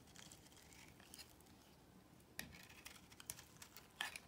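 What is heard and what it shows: A box cutter blade scrapes and cuts into a solid beige bar of soap held in the hand. Soft, dry scraping rasps are broken by sharper, brighter crisp snaps, with the strongest cuts near the middle and end. The sound is quiet, with a faint low rumble underneath.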